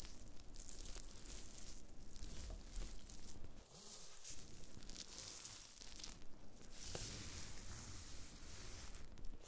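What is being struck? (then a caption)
Dried wood ear fungus flakes on a cutting board. Black-gloved fingertips press and scratch thin, dry, brown pieces of dried black fungus (wood ear mushroom) scattered on a white cutting board. The result is a steady, close crinkling and scratchy rustle with a low rumbling body and bright, crackly edges, briefly dipping quieter near the middle.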